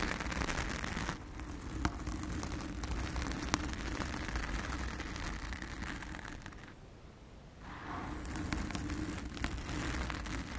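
Long acrylic nails from both hands scratch and rub a round, soft, porous blue foam windscreen over a microphone. The sound is a dense, crackly rustling with deep low-end rumble, a few sharp ticks, and a brief quieter patch near the end before the scratching resumes.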